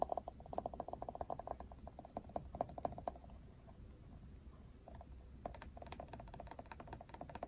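A plastic paddle hairbrush with a Wet Brush logo, possibly Barbie-themed, is held in both hands while fingernails tap and scratch its plastic handle and back. Quick bursts of short, dry clicking ticks open the clip, then give way to a quieter, softer scratching in the middle before the rapid tapping returns near the end.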